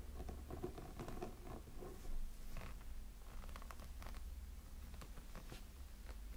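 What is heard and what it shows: Fingertips and nails scratch the textured silicone body of a small, hollow, glowing light-up snowman figure. Soft, quiet scratching and tapping patter over a steady low hum, with brief brighter scrapes scattered throughout.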